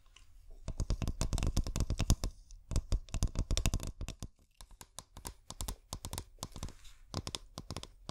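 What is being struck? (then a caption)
Glass bottle with string lights inside. A clear glass bottle with fairy lights inside is handled and tapped with long painted nails, producing quick, irregular bursts of sharp clicky taps. Each short, dry tick has a low thump underneath and a bright edge, with brief pauses between the flurries.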